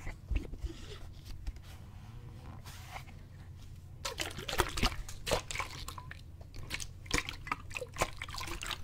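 A clear plastic bottle, partly filled with water, is tilted and shaken while fingertips grip and tap its sides. Soft sloshing and crinkly plastic crunches sit over a steady low hum, growing busier after the first few seconds. Sharp, bright taps and squeezes punctuate the liquid sounds.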